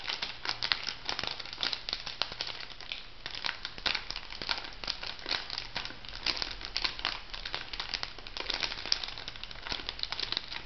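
A small, flat, filled pink printed plastic/foil sachet is crinkled and scratched with long nails. The result is dense, bright crinkling layered with many sharp, quick crackles, continuing steadily for about eleven seconds over a faint low hum.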